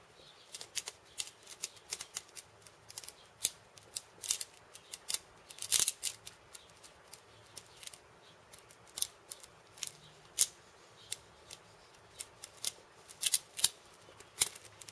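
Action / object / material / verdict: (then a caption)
tap / wooden cabasa with steel ball-chain loops / steel beads / none. Fingertips and painted nails tap and rub the small steel ball chains looped around a hand-held wooden cabasa, a hollow wooden cylinder with a wooden handle, while the instrument is turned in the hand. The result is a quiet, irregular stream of crisp, bright metallic clicks and short beady rattles that stop almost instantly, with almost no low end.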